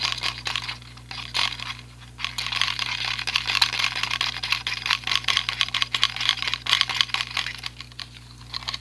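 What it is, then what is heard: Plastic selfie ring light. A small white and light-blue plastic clip-on selfie ring light with a hollow ring shape is held in both hands and tapped rapidly with fingertips and nails. The result is a dense, continuous patter of short, bright plastic clicks and ticks that starts sparse and grows busier, over a faint steady low hum.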